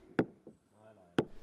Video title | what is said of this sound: Master of an old house / Vana maja meister | logs have cracks in them and this changes the sound – it sounds hollow although the log itself is decent